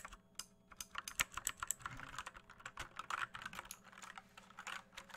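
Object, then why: Plastic mechanical keyboard. Fingertips tap the plastic keycaps of an RGB mechanical keyboard with a hollow case, producing a quick, uneven run of sharp, bright clacks with almost no ring. The keyboard is later moved quickly and shaken.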